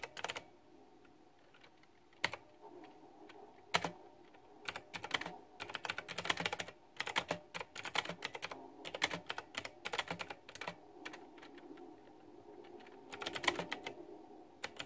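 Fingertips with long nails type on a white backlit retro mechanical keyboard with round, typewriter-style plastic keycaps. Bright, clacky key taps come in quick bursts separated by short pauses. Each click is sharp and dies away almost instantly against a faint low hum.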